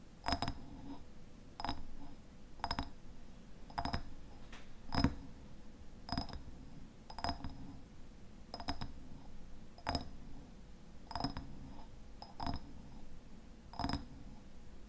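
Fingernails tap the glass sides of a medium raspberry jam jar with a red paper label and a white lid. The taps come at a steady pace, roughly once a second, each a short, bright glassy click with a faint ringing tone that dies away quickly. A soft, low background hum runs between them.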